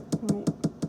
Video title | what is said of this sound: AVIÄ 2020 en détail! Nü Camp | ce son-là, ce n'est pas un son de bois mou, c'est un son de laminé structural. C'est un son qui est un foam structurel